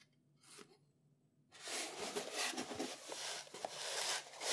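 A small, closed, hollow brown corrugated cardboard product box with a printed label, packaging for a Sigma 100-400 tripod collar, is held and handled with the fingertips. After near silence and a brief soft rustle, steady bright, scratchy rubbing begins across the flat sides, with light taps mixed in.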